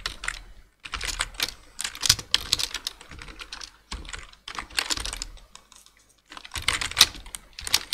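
Two hands tap with their fingertips on a black plastic full-size computer keyboard, making rapid, bright, dry key clicks. The clicks come in quick bursts separated by short pauses.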